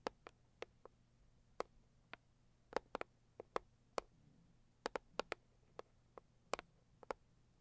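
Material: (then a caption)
Cardboard. A Saviland cardboard product box is tapped and scratched with long nails, giving sharp, dry clicks with almost no ring, each with a bright top. The taps fall irregularly, sometimes in quick pairs, over a faint low hum in a quiet background.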